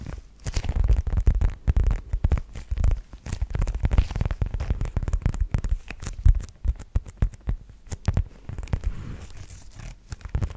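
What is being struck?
Faux leather zip-around wallet.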